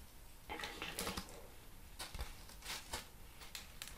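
A hand taps the surface and edge of a large, flat, plain brown corrugated cardboard sheet with its fingertips and nails while the hollow-fluted sheet is held upright. The result is a series of soft, dry, papery taps and light scratchy clicks that stop at once, with a faint low thump under some of them.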